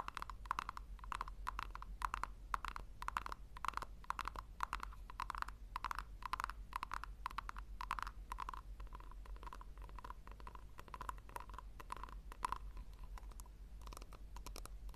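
Long nails rapidly tap and scratch the base and sides of a small, round, hollow pink plastic tub held in the hands. The result is a quick, irregular stream of short, dry clicks with a hollow ringing tone near 1 kHz and light scratchy texture, over a steady low hum.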